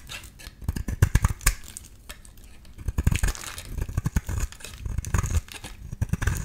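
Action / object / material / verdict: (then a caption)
scrape / bar of soap shaved with a metal blade / soap / none. A solid pink rectangular bar of soap, held in the hand, is shaved into curls with a metal utility-knife blade. The clip is a dense run of short scraping, crackling strokes, each with a dull low thump beneath a thin bright rasp. The strokes come in quick irregular bursts, dry and close, with almost no ring after each cut.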